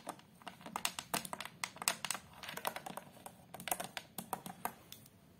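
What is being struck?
Glass-fronted photo frame.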